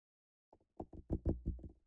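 A pumpkin is tapped in a quick series of low, dull knocks that grow louder. Each tap thuds briefly with almost no ring and no bright high end.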